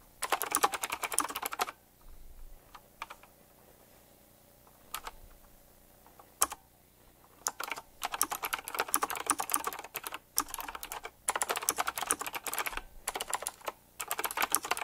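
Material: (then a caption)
Plastic. Fingertips type quickly on a full-size typewriter-style mechanical keyboard with round black plastic keycaps, chrome-look rims and a metallic frame. Dense bursts of sharp, bright clicky keystrokes run in fast flurries, broken by short pauses with a few isolated taps.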